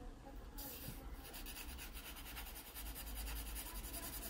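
A graphite pencil held at a low angle rubs soft shading onto a drawing of a pear on an open paper sketchbook page. The result is a steady, quiet, papery scratching made of quick repeated strokes with a bright, airy hiss. A low rumble sits underneath throughout.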